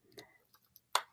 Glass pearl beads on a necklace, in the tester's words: glass pearls there, which you can hear if you knock them together, they make a different sound